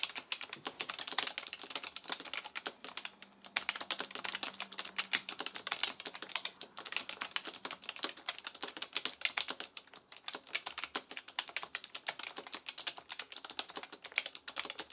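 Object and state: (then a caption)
Plastic mechanical keyboard being typed on. Both hands type continuously with the fingertips on an Asus ROG Claymore II full-size gaming keyboard with plastic keycaps on a metal top plate and RX Blue clicky switches. A rapid, steady stream of sharp, bright clicks is heard, each keystroke dying away almost instantly with little low end.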